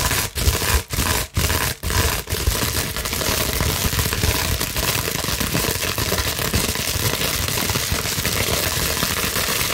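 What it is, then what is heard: Plastic bubble wrap sheet. Long nails and fingers rapidly scratch and squeeze a large clear plastic bubble wrap sheet, producing dense, broadband crinkling and scraping with a bright, hissy top end. The first couple of seconds come in short bursts separated by brief pauses, then the crinkling runs continuously at a steady level.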